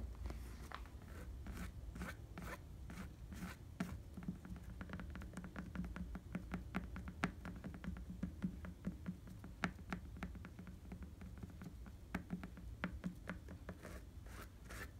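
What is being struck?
Rubber bicycle tire.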